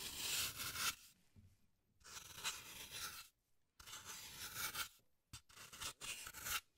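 A small metal carving tool, held in gloved hands, carves and scrapes a hand-sized block of solid green floral foam. Bright, airy rasping strokes come in several bursts of varying length, separated by near-silent pauses, with almost no low end.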